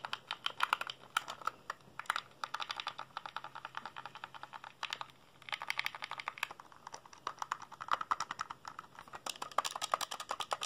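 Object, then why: Plastic handheld game console. Fingertips rapidly press the buttons and tap the casing of a hollow black plastic PSP handheld console held in the hands. Dense bursts of short, sharp plastic clicks and taps with a bright, dry character and almost no ring, pausing briefly about halfway through before resuming.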